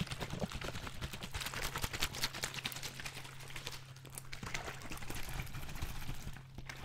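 A large clear PET Vittel water bottle with a red cap and some water inside is held horizontally in both hands, squeezed and tilted. The plastic gives off a dense run of bright crinkles and crackles while the water sloshes, over a steady low hum. It eases off briefly near the end.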